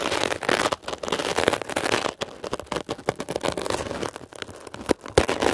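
A metal ear pick scratches rapidly across a blue mesh-covered textured foam scrub sponge. The result is a dense, bright, crackling rasp in uneven bursts with brief quiet gaps.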